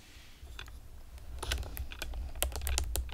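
Long painted nails and fingertips rapidly tap on a pastel plastic typewriter-style computer keyboard with round retro keycaps and hollow keys. The result is irregular, bright, hollow clicks over a steady low hum, growing busier and louder toward the end.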